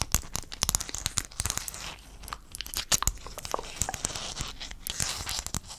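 Fingertips and nails scratch and tap the surfaces of a hand-sized sheet of small silver-blue hexagon mosaic tiles held upright in front of the mic. The result is a dense run of sharp, bright clicks and taps over a crinkly, scratchy hiss. Each tap stops dead with no ring.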